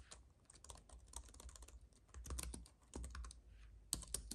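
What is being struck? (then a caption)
Plastic-key keyboard on an aluminum base. Both hands type with their fingertips on a slim white computer keyboard with plastic keys on a silver aluminum base, while a paintbrush lies unused nearby. Rapid, dry keystroke clicks patter with bright, short ticks over a low hum, with a few louder taps near the end.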